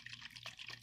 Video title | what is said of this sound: All About Coconuts in Cooking | this also has water in it when you shake it you can hear it so that's a good coconut